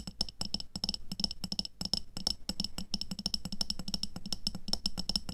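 Long nails tap quickly on the sides of a medium clear glass jar with a black lid, full of red water beads and resting on white fur. The rapid, uneven stream of bright, clicky taps rings only briefly, with a soft low thump under each one.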